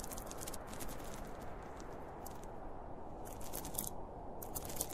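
Fingertips and short nails scratch along the top and zipper edge of a hollow, closed, zippered school pencil case made of polyester fabric with a printed cartoon panel, lying on a blue plastic lid. A steady, soft, low rumbling texture runs throughout, broken by clustered bursts of bright, dry scratching and crinkly crackle.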